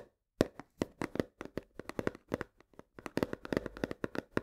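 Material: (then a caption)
Cardboard. Long nails tap fast on the front face of a full 1 kg cardboard box of coarse salt. After a brief silence, a rapid string of dry, hollow clicks follows, each stopping almost instantly with a low-mid knock around 266 Hz. The taps grow denser and slightly louder in the second half.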